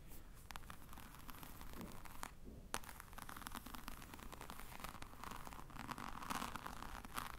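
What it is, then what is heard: Croc-embossed faux leather case. Long manicured nails scratch across the crocodile-textured faux leather surface of a medium black rectangular case that looks hollow, held up close. The result is a steady, quiet run of dry, crackly scratching with many quick, bright ticks over a low, soft rumble, with a slightly hushed gap just before the midpoint.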